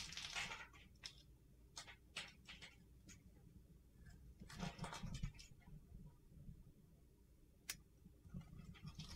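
A utility knife blade scrapes the blue glitter coating off a solid white bar of soap held in the hand, peeling it away in curled shavings. Short, bright, gritty scraping bursts come irregularly over a steady low rumble, with a dense crunchy stretch in the middle and a sharp click near the end.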